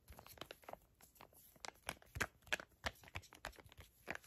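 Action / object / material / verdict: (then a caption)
tap / small plastic-foil laminate sachet / plastic laminate / none. A small, flat teal Moroccanoil sample packet made of crinkly plastic/foil laminate is crinkled and tapped with long acrylic nails. The result is a quiet, irregular run of sharp, bright crackles and clicks, with some louder crisp bursts standing out from a soft continuous rustle.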